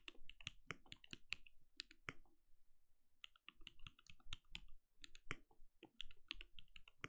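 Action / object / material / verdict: tap / plastic mechanical keyboard / plastic / none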